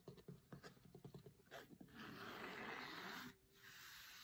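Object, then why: Cloth-covered hardcover book. Fingertips tap and scratch across the textured cover of a large, closed, cloth-covered hardcover cookbook in a quick, uneven run of light hits. They then rub steadily over the cloth for a soft, continuous brushing hiss that pauses briefly and resumes more quietly.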